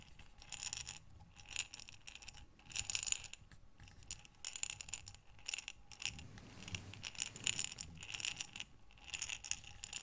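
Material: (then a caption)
Glass. A medium glass mason jar with a metal lid, filled with buttons, is turned and tilted by hands with long dark nails so the buttons tumble and rattle inside. Bright, clicking clatter comes in repeated bursts separated by brief quiet gaps, with very little low end.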